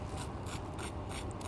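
A freshly deep-fried, breadcrumb-coated risoles has its crust scraped, giving repeated dry, scratchy crackles in short bright bursts over a steady low rumble. The crust is very crispy and crunchy.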